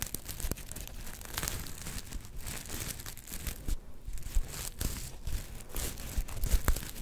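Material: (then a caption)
Plastic sequins. A palm-sized soft star-shaped plush covered in black and gold flip sequins is scratched with long nails, flipping the sequins back and forth. The result is a dense, continuous crinkly scratching and tearing-like rasp with quick clicky crackles, steady in level with a few sharper ticks near the end.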